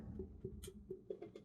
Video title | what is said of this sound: Pottery Tutorial- Trimming a Foot on a Large Bowl | I'm hearing it a little bit with this one I think I could take off a bit more though